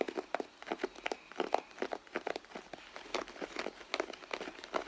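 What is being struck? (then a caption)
Leather handbag. Long blue nails scratch and tap across the leather panels of a hollow, soft red leather handbag. The result is a quick run of dry, crinkly taps and scrapes with no low end, each one stopping almost at once.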